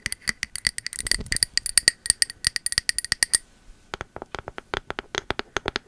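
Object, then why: Ceramic candle jar with bamboo lid. Long metal nail caps tap on the engraved bamboo lid and body of a pink ceramic candle jar, making dense, irregular runs of quick, bright clicks that stop almost at once. A short pause around the middle separates the two runs of tapping.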